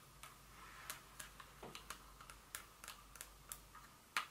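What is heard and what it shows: A small Dior glass perfume bottle with a metallic cap, standing on a table, is tapped with very long fingernails. Light, irregular clicking taps with a faint high glassy ring near 1.2 kHz fade almost instantly, against a quiet background hiss.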